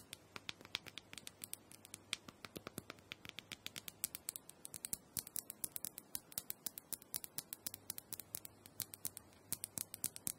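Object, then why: Small plastic massager dome. Long nails tap quickly on the top of a small, round, purple plastic dome handheld massager that seems hollow. The result is a steady run of dozens of crisp, bright clicks with almost no ring, over a faint low hum.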